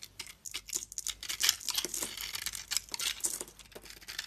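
A utility knife blade shaves a hand-held solid bar of soap with a red glitter coating and white interior. It makes a rapid series of crisp, bright scraping and crinkling cuts with very little low end. Each stroke stops short with no ringing.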